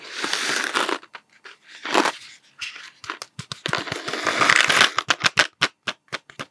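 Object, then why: Cardboard candy tube with plastic cap. A hollow cardboard Smarties candy tube with a blue plastic cap is held upright, then horizontal, and tapped with fingertips. A dry, rustling stretch of noise opens the clip, followed by scattered light taps and then a quicker run of short, sharp, bright taps that die away almost instantly.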